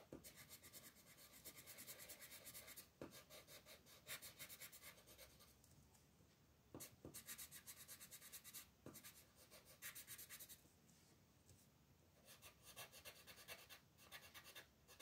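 A blue colored pencil, held by a hand with long red nails, scratches short strokes across a flat paper coloring book page. Bursts of dry, bright scratching come in rapid clusters, with brief quieter pauses and a few sharp taps between them.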